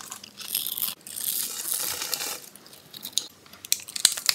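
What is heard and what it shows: A metal blade scrapes and cuts through the gridded surface of a solid, palm-sized pink bar soap held in the hand, and crunchy pink cubes crumble off. Bright, dry scraping bursts come first, followed by sharp crisp snaps and crackles as the cubes break away.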